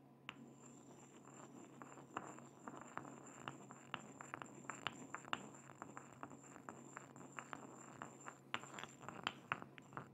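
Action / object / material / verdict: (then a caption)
scrape / ceramic mortar and pestle / ceramic / none. A pestle is ground and scraped around inside a small hollow white ceramic mortar held close to the microphone in a gloved, clawed hand. Quiet gritty scraping is broken by many short, sharp clicks and taps that die away almost instantly, over a faint low hum and a steady high whine.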